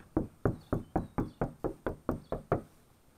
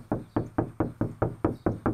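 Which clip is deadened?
The first.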